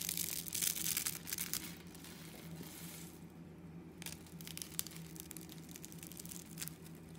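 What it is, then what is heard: Bar soap being carved. A metal utility blade slices and scrapes a solid light-green bar of soap with a grid-cut surface, crumbling small cubes off. Bright, crisp crunching and crackling are densest and loudest at the start, drop to near-silence briefly in the middle, then return as lighter, scattered crackles over a steady low hum.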